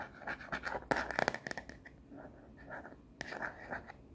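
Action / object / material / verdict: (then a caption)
tap / plastic phone case on a smartphone / plastic / none. Long nails scratch and tap the printed back of a frosted plastic phone case with black edges on a smartphone, held up in the hand. Quick, uneven bursts of dry scratching and sharp clicking taps come in clusters, with a loud flurry near one second and another burst after three seconds.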